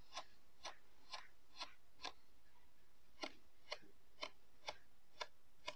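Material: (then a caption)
Kinetic sand. A thin blue plastic stick pokes rows of holes into a flat, solid disc of pink-purple kinetic sand pressed into a round lid on a white table. Eleven soft, crisp, bright pokes sound at a steady pace, with a brief pause partway through. Each is short and dry against a quiet background.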